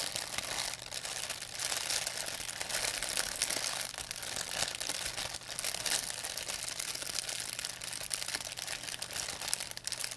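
An empty, thin white plastic pharmacy bag is crinkled and squeezed in both hands with long nails. It makes a steady, dense stream of bright, crackling crinkles with almost no low end. A faint low hum sits underneath throughout.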